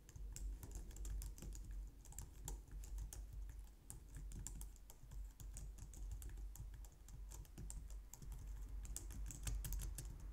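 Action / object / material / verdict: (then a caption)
tap / plastic computer keyboard / plastic / none. A low-profile white/light-grey plastic wireless keyboard on a glitter mat on a wooden desk is typed on with long painted nails and fingertips. Steady, rapid plastic taps and bright clicking ticks run throughout over a constant low rumble.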